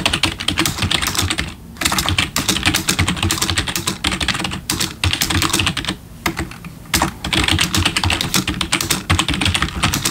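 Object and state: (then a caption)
Plastic computer keyboard being typed on. Both hands type rapidly with their fingertips on a black plastic backlit computer keyboard resting on a desk, making a dense stream of bright, short key clicks with a low thud beneath. The typing runs in bursts, with brief pauses near 2 and 5 seconds and a longer lull around 6 to 7 seconds before it picks up again.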